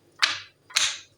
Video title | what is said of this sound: How to use silicon chocolate molds - How to Make Chocolates at home @stworld9024 | जब ये सेट होती है ना तो इसका वेट होता है और ये आवाज चेंज हो जाती है